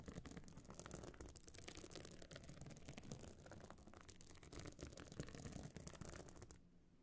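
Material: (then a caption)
Stone chips. Long nails scratch the surface of a small, hard, pebble-encrusted metal-frame clutch bag that is covered in glued stone chips and standing open. The result is a dense, continuous run of gritty, rattling scratches with bright, crackly edges over a low rumble. The scratching stops abruptly near the end, leaving a faint, steady low hum.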